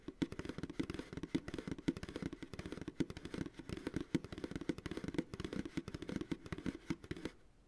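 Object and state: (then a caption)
Empty plastic pail, hollow. An empty white plastic ice cream pail, held upside down on a lap, has its hollow bottom tapped with the fingertips and short nails of both hands. The result is a rapid, continuous run of dry, hollow taps with a low-mid resonance around 290 Hz that stop quickly, with no ringing, and faint bright clicks on top. The tapping goes on for about seven seconds before fading out.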